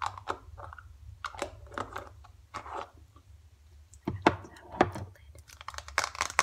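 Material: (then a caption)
Foil laminate. A small, flat, filled green foil-laminate face mask sachet is held in the hands and tapped and crinkled with long dark acrylic nails and fingertips. Quick, irregular crisp taps and papery crinkles are heard over a low steady hum, becoming sharper and louder in the second half.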